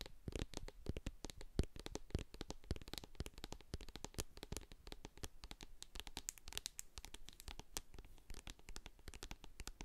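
Long acrylic nails rapidly tap and scratch the sides and label of a medium hand-held plastic jar of hair co-wash with a silver metal lid, full of white cream. The result is a dense, steady stream of short, dry clicks and scrapes with a soft low thud beneath and bright, crisp edges, each sound dying away almost instantly.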